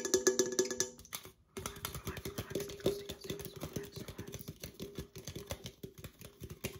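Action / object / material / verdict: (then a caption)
tap / aluminum drink can / aluminum / none. An opened, hollow red Coca-Cola aluminum can is tapped rapidly and irregularly with long acrylic nails while being moved toward and away from the camera. The taps are short, bright clicks over a hollow metallic ring near 375 Hz, with a brief pause just before the 1.5-second mark.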